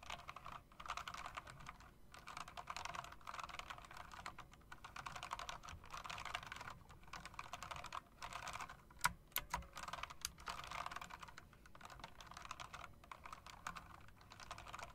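Fingertips with long dark nails type quickly on a backlit mechanical typewriter-style keyboard with round plastic keycaps in metal rims. A dense, steady stream of sharp, bright key clicks runs throughout, broken by short pauses, with a few louder clacks near the middle.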